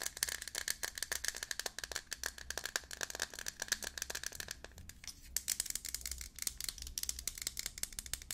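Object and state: Metal aerosol can.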